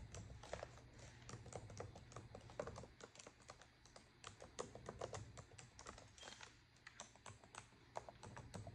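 Both hands with long, decorated acrylic nails type on a black plastic laptop keyboard, producing a dense, quick run of light, clicky key taps. A steady low hum runs underneath the clicks throughout.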